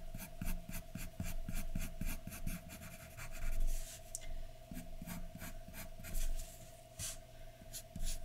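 A graphite pencil scratches quick hatching strokes for hair across a large, flat white paper sheet resting on a dark surface. The strokes come as a steady run of short, dry rasps, some louder and longer than others, over a faint constant tone.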